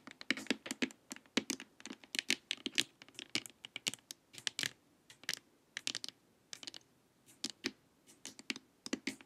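Long acrylic nails tap and scratch along the sides and top of a glossy, hard plastic LED light-therapy face mask, a hollow shell lying face-up. The result is a steady, irregular run of sharp, bright, clicky taps with very short decay, mixed with light scratching and quiet gaps between bursts.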